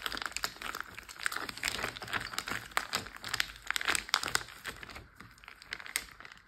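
A large clear plastic Ziploc bag full of water lies flat while fingertips and short nails tap and scratch across it. Dense, bright crinkling of the plastic comes in rapid, uneven bursts with short sharp ticks, fading softer toward the end.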